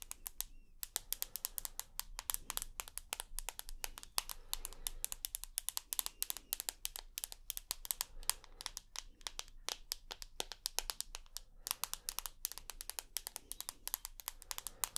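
Long nails tap and scratch the glass screen and aluminium side of a rose gold iPhone held up near the face. About a hundred rapid, dry, bright clicks land in an uneven patter, each dying away instantly. Faint scratchy rustling and a low steady hum sit underneath.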